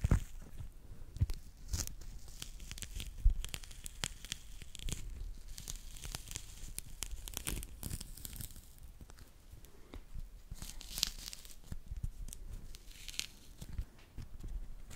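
Long manicured nails and fingertips peel the rind away from a small fresh mandarin orange held in both hands in front of the microphone. The result is quiet, irregular tearing and crinkling, with soft bright rips and low thumps from the handling.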